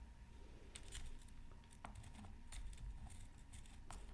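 A bamboo stylus makes repeated scratching strokes across a flat, black-coated scratch art card from a Mythical Creatures Super Scratch Art Pad. Short, bright, dry scraping bursts rise over a quiet, low rumbling background, with a faint steady tone underneath.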